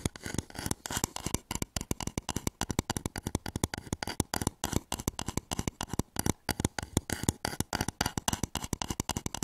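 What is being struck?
Turned wooden bowl.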